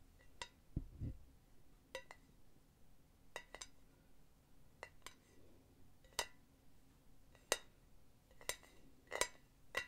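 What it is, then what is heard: Hollow, empty metal pen holder base. Long nails tap the solid metal base of a hollow, empty silver mesh pen holder resting on felt pads. The result is a quiet series of short, bright metallic clinks with a faint ring that dies away quickly, plus a couple of soft low thumps near the start.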